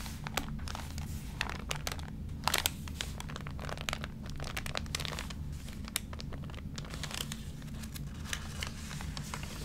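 A water-damaged, crinkled glossy paper magazine: both hands turn a page, then fingertips press and rub across the wrinkled paper. Dense, bright crinkling and crackling fills the clip over a steady low hum, with many sharp, short snaps standing out.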